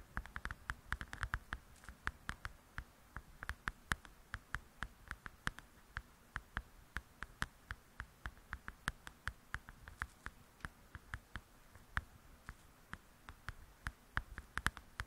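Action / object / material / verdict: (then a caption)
tap / paper coloring book with glossy softcover / paper / none. Long acrylic nails tap rapidly on the glossy cover of a softcover paper coloring book lying flat and solid. Dozens of quick, dry clicks land in an uneven rhythm, each with a crisp bright edge over a soft low thud and almost no ring. A faint steady hiss sits between the taps.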